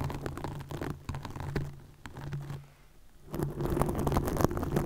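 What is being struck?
Plastic mesh netting over a microphone.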